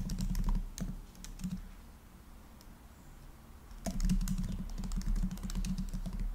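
Fast fingertip typing on the black plastic keys of a rose-gold laptop makes quick, irregular clicky key taps over a low steady hum. A dense burst of typing fades into a quieter pause around the middle, then the tapping resumes just as busily until the end.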